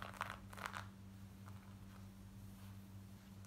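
Long acrylic nails scratch the front of light grey cotton denim jeans worn on the legs, near the pockets and waistband. A few quick, crunchy rasping strokes come in the first second, then fainter scratching fades in and out over a steady low hum.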